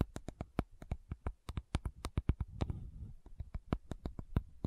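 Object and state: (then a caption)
Plastic bottle tapped with nails. Long nails tap and scratch the body of a small pink plastic sunscreen bottle with a gold band, held sideways. A quick run of short, dull, low taps with sharp clicks is broken around the middle by a soft scratching rasp, then the tapping resumes.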